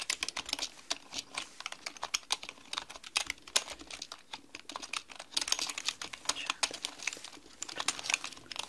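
A black mechanical computer keyboard with plastic keycaps, sitting on a desk, is typed on rapidly with long painted fingernails and fingertips. The result is a steady stream of sharp, bright plastic clicks and clacks that stop dead with no ring and almost no low end.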